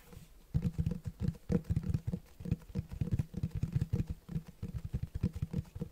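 Fingertips tap and scratch the front cover of a large, solid black Berserk Deluxe Edition hardcover book with a cloth or leatherette cover, held in one hand. A rapid run of soft, dull, low thumps, pitched around 160 Hz, comes in uneven bursts with faint scratchy texture between them. Each tap dies almost instantly, with no ring.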